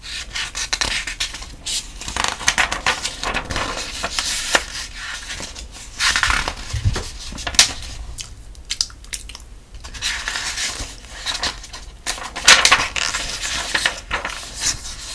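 Fingertips flip and rub the thin paper pages of a softcover sudoku book held up in one hand, turning them one after another. Soft, bright paper rustles and crisp page flicks come in dense bursts, swelling and fading with each turn, with very little low end.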